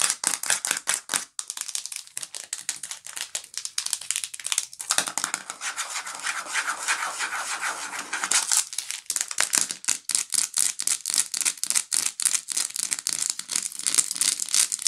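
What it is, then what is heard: Plastic jar of peanuts. Fingernails rub and scratch a hand-sized clear plastic jar full of shelled peanuts and its red plastic screw lid, making rapid, crisp, high-pitched scratching and tapping. Midway the jar is tilted, and the peanuts shift inside with a steadier rustling slide before the quick scratching picks up again.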